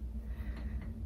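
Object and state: Nothing is struck.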